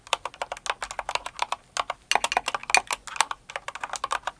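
Both hands with long acrylic nails type fast on a full-size blue and white Cinnamoroll kawaii mechanical keyboard with plastic keycaps. About 31 short, bright plastic clacks come in quick bursts with no low end and almost no ring, broken by brief pauses near 2 and 3.5 seconds.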